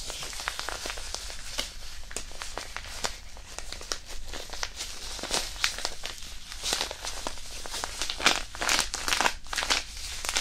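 A small, flat, white disposable hand warmer packet, a pouch with iron powder inside, is held and rubbed between the fingertips of both hands right in front of a binaural microphone. It gives off irregular, bright crinkling and crackling rustles in quick, uneven bursts over a soft low rumble.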